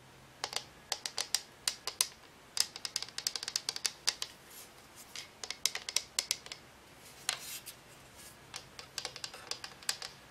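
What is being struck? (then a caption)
Frosted plastic lamp shade. Long nails tap rapidly and irregularly on a hollow, frosted-plastic cylindrical lamp shade of a color-changing lamp, gripped with both hands and lit warm orange in dim light. Dozens of sharp, bright, high clicks come in uneven clusters with brief pauses. Each tap dies away almost instantly, with almost no low end and a quiet, airy background.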